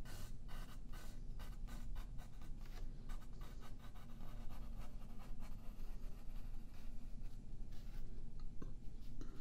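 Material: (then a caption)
Paper. A yellow graphite pencil scratches drawing lines across a thin sheet of white paper lying flat on a wooden table, held in place by the left hand. Short, dry scratching strokes repeat steadily over a constant low rumble, each stroke a brief bright rasp that stops almost at once.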